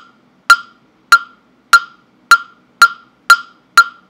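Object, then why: Carved wooden fish block (mokugyo) struck with a mallet. A hollow carved wooden mokugyo fish block, held in the hand close to the microphone, is struck with a mallet seven times at a steady pace. Each knock is a sharp, dry, hollow tok with a clear pitch near 1.4 kHz and bright upper overtones. It dies away almost at once, with silence between strikes.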